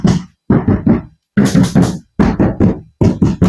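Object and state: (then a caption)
Plastic storage cabinet back panel knocked. Knuckles knock on the solid, opaque plastic back panel of a cheap storage cabinet, in quick bursts of three separated by short pauses. Each knock is a dull, hollow, low thud that dies away quickly with little ring. The plastic sounds thin, with quality in line with its low price.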